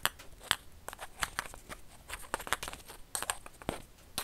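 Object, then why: Plastic ping pong ball. A single small, hollow orange plastic (celluloid) ping pong ball is held in the fingers close to the microphone and tapped and scratched with fingertips and nails. Roughly a dozen short, crisp, bright clicks and taps stand out over soft scratchy rustling. Each one is dry, with almost no ring.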